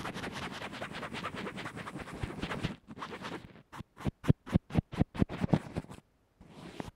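A small earphone microphone covered with a textured fabric band-aid, resting on a table, is stroked and scratched with the tip of a small black makeup brush. A dense, rapid scratching rustle runs for nearly three seconds, eases into softer brushing, then becomes a run of separate, louder swishing strokes. After a brief silence, faint brushing returns; the sound stays low and muffled throughout.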